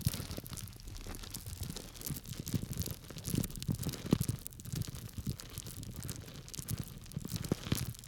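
A small clear plastic bag full of small dry grains is held by its tied top and scratched and rubbed through the plastic with fingertips and nails. The result is a steady, dense crinkling and scratching with soft crunchy grain shifts, mostly low in tone with faint bright hiss, and short dry clicks that stop instantly without ringing.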